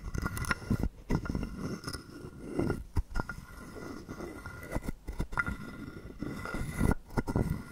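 A hollow carved wooden frog guiro rests in the palm while a wooden stick scrapes across its ridged back and sits through the mouth slot. The result is a series of dry, rasping wooden scrapes and clicks, mostly low and hollow in tone, broken by short silent pauses between strokes.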